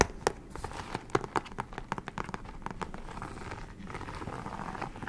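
Long nails tap and scratch a medium, flat, padded bubble mailer of metallic holographic plastic with a pink FRAGILE sticker, held in both hands; it is hollow and seems to hold something. Sharp, crinkly plastic taps come in an uneven patter, then blur into a steadier rustling scratch.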